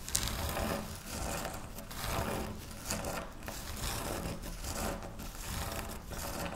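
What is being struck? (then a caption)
Wafer biscuit crumbs. Hands with long nails scratch, rub and crush a pile of dry wafer biscuit crumbs on a pinkish speckled surface. Close, continuous crunching and gritty scraping swell and fade in uneven waves, with a low rumble underneath and a bright crackle on top.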